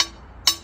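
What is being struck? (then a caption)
Aluminum piece. An aluminum piece is tapped twice with a hammer to show aluminum's natural ringing frequency, in contrast to the dull sound of MDF. Each tap gives a short, bright metallic ring centered high, that decays quickly.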